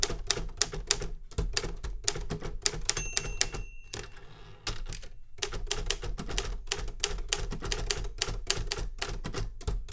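A metal Remington Super Riter manual typewriter on a wooden desk is typed on continuously with fingertip key strikes. Rapid, sharp, bright clacks each carry a low thump underneath and die away almost instantly, with a short lull partway through before the typing picks back up.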